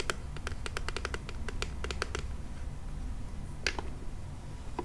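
Fingernails tap quickly on a hollow pink plastic monster toy car with wheels, held close up. A fast run of short, bright plastic clicks rings briefly over a low, steady background hum. After a pause, a sharper tap and a few softer ones follow.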